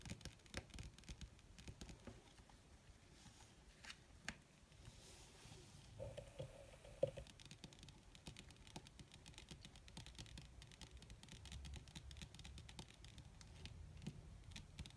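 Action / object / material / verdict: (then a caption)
tap / leather surface / leather / none. Long red fingernails of both hands tap quickly on a flat black crinkled leather or faux leather surface. The result is a dense patter of soft, short, dry clicks with a faint low hum underneath, plus a brief mid-pitched tone around 7 seconds.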